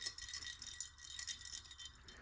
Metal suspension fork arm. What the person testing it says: there's something loose inside this arm